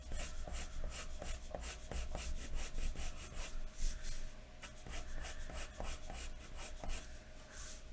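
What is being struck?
Graphite pencil on a paper sheet over a wooden desk.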